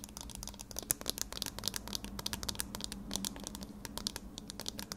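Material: Metal wire.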